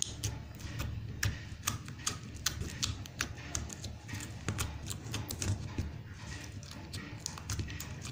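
Fingertips repeatedly poke and press into blue glitter slime in a small round blue plastic tub held in one hand. The result is a fast, steady run of short, sticky clicks and pops with a bright crackle over a low, soft thudding base.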